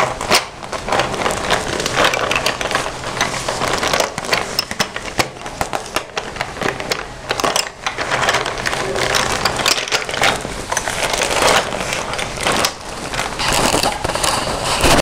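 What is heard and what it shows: Nails and fingertips scratch the flat side and zipper edge of a closed red glossy vinyl pencil case filled with pencils. The result is a dense, continuous crackly scraping with many quick, bright ticks, mostly in the mid and high range, with little low end.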